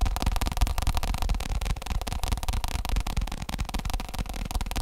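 A round, padded black fake leather stool seat on a metal leg is tapped quickly with fingertips and nails on its top and side while the stool is tilted. The result is a dense, fast, uneven patter of soft, dull thuds with a heavy low-end body and very little brightness.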